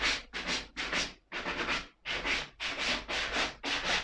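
A black suede leather ankle boot is brushed with a wooden-backed bristle brush, the strokes running along the upper toward the sole edge. Seven or so quick, bright, scratchy swishes follow one another in a loose rhythm, each fading out fast.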